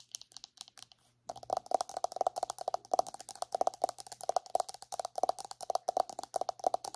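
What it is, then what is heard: Plastic body butter tub. Long acrylic nails tap rapidly on the lid and side of a round white plastic body butter jar held on its side. A few sparse, light clicks come first, then after a brief pause a dense run of quick, hollow plastic taps with a mid tone and bright clicky edges. Each tap stops almost instantly.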